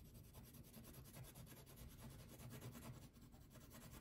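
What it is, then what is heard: Wax crayon rubbing on paper. A red or pink wax crayon is rubbed back and forth across a thin paper coloring sheet resting on a table. The quiet, continuous scratchy rubbing comes in repeated strokes, with a soft low body and faint bright rasping on each pass.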